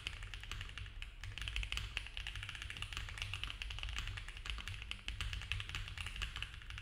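Both hands type fast with their fingertips on a compact mechanical keyboard with cream ABS keycaps, a dark case, a polycarbonate plate and foam filling. A dense, steady stream of short, crisp plastic taps with bright clacks around 2–3 kHz sits over a constant low rumble, each keystroke dying away almost instantly.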